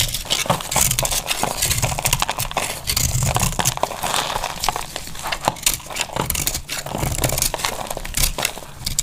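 A solid, hand-sized pink bar of dry soap is held in the hand and carved with a snap-off utility knife blade, so brittle curls and flakes crack off. A steady run of sharp, dry crackling and crunching scrapes is heard, bright and crisp with a low rumble underneath.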